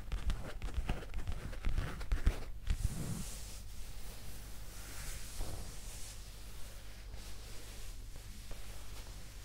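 A soft, flexible black leather skirt held close to the microphone is scratched and rubbed with long green acrylic nails. Dense, crackly scratching with sharp low thumps fills the first three seconds, then eases into quieter, steady rubbing with faint bright hiss.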